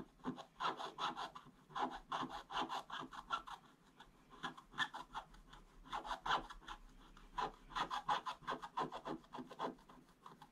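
A wooden stick is scratched in fast strokes across a flat, solid, black-coated scratch-art paper board. Quick, dry rasping strokes come in three busy runs separated by short lulls, with a papery scrape centered in the mids and some bright hiss above.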